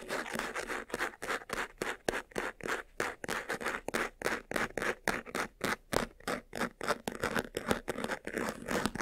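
Fingertips and nails scratch quickly across the sides and front of a closed, hollow, medium-sized white faux-leather jewelry box with a textured surface. The result is a fast, slightly uneven run of short, dry scratching strokes, about three per second, each a brief rasp with a mid-range body and a bright edge, with almost no low end and no ring after each stroke.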